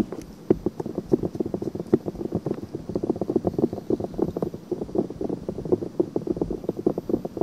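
Long painted nails scratch quickly over the surface of a pale pink silicone binaural microphone ear. A steady run of rapid, soft, dry scratching strokes follows, centered in the low midrange with little deep bass or high hiss. Each stroke cuts off almost instantly.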